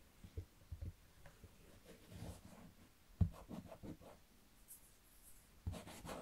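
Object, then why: Wooden chest lid. Fingertips trace and rub across the closed wooden lid of a large, hollow wooden chest with leather straps and a metal clasp. The result is quiet, low, dull scraping and soft brushing, with one sharper thump midway and a brighter rustle near the end.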